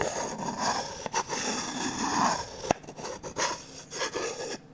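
A wooden stick scrapes and rubs along the empty bowl of a medium, glossy orange varnished wooden ladle. The result is a slow, raspy friction sound with a midrange focus and a hiss reaching into the high range. Several short, sharp clicks cut through the scraping.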